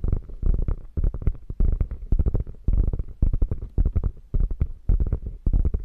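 Long nails scratch the quilted top of a beige, hollow, padded quilted faux leather bag. The result is bursts of dull, low scratching and rubbing, thudding around 74 Hz with almost nothing high, in uneven groups separated by short pauses.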